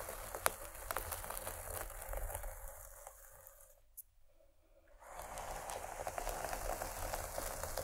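Long fingernails of both hands scratch the fabric near one end of a paisley cloth pencil case turned lengthwise, making a dry, crinkly scratching texture with occasional sharper ticks. The scratching fades to near silence around the middle, then returns at full strength and continues to the end.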